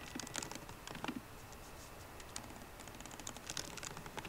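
Both hands type continuously on a MacBook Pro keyboard, fingertips and long painted nails striking plastic keycaps set in a hollow aluminium laptop body. The result is a quiet, steady patter of short, bright clicks and taps with low soft thuds, and a few louder keystrokes stand out.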